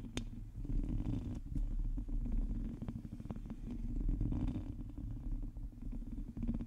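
Long teal acrylic nails on the fingertips of both hands scratch the hollow domed metal mesh grille of a large black USB condenser microphone, the only object touched. The result is a dense, continuous, low rumbling scrape, almost purr-like, full of quick crackling ticks, with a few brief quieter gaps between strokes.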